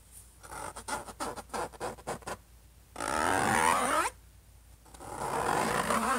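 Fingertips and short nails of one hand tap and scratch the closed lid of a silver HP laptop, a large flat shell over a hollow body. A quick run of short, dull taps is followed by a sustained rough, bright scratching stroke, a pause, and then a second long scratch that builds toward the end.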